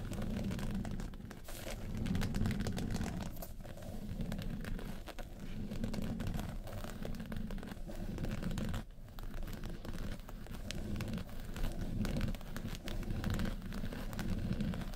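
Long nails scratch the lid of a small, hollow, hard makeup case covered in woven-texture yellow faux leather. The result is a dense, continuous scratching and crinkling rasp that sounds dull and low, with little brightness. Brief dips near five and nine seconds break an otherwise steady level.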